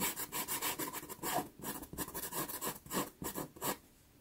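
A black pastel pencil makes quick fur-like hatching strokes across a small, taped, sienna Pastelmat card. About fifteen short, dry, raspy scratches come in an uneven rhythm, each with a bright papery hiss. The strokes stop just before the end, leaving near silence.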